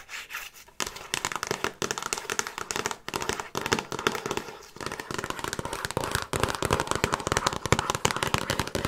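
Long nails rapidly tap and scratch the glossy printed cardboard slipcase of a handheld Frasier season DVD box set, a hollow box with discs inside, while it is tilted. Dense, irregular crackly taps and scratchy bursts fill the clip with short, dry hits, broken by a few brief pauses.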